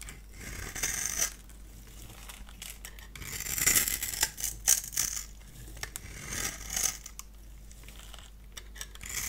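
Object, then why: Bar of soap. A solid pink bar of dry soap, held in the hand, has its surface scored and shaved with a multi-blade cutter, breaking off crumbly flakes. Bright, crisp scratching and scraping comes in short bursts with crackly, high-pitched detail, loudest around the middle of the clip, over a quiet low hum.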